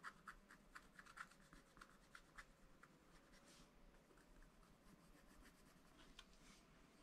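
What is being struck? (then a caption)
Scratch-art paper scratched with a wooden stylus. A wooden stylus scratches small strokes into the black coated sheet of a scratch-art paper pad. A quick run of short, dry scratches comes first, with bright clicks around 1.5 kHz, then settles into softer, steady rubbing at a quiet level.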